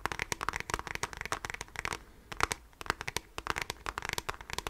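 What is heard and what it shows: Fingertips and nails of both hands scratch the hollow beige plastic back of a handheld device, likely a graphing calculator, held horizontally. A rapid run of short, dry, crackling scratches and taps comes through with a hollow midrange ring and a bright edge, and there is a brief lull just past the halfway point before the quick scratching picks up again.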